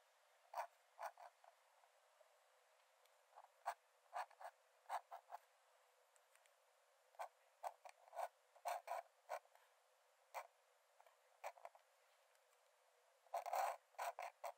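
A metal nib in a wooden dip-pen holder scratches lines onto the cream paper page of an open sketchbook lying flat on a dark desk while drawing. Short, dry, creaky scratches come in irregular bursts separated by quiet pauses, centered around 785 Hz with bright, airy edges and no low end. A longer, denser scratch comes near the end.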